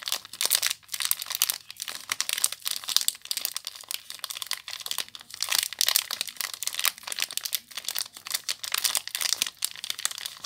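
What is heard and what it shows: Long nails crinkle and scratch the clear plastic wrapper on a small bar of soap. The result is a continuous stream of crisp, bright crackles and rustles with quick dips and surges, with almost no low end.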